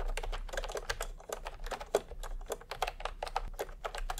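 Fingertips of both hands type continuously on a full-size pastel typewriter-style keyboard with round plastic keycaps in a hollow plastic case. About two dozen quick, clacky keystrokes land in a steady stream, each a short hollow plastic tap with almost no ring. The strokes come in uneven bursts with a few louder presses.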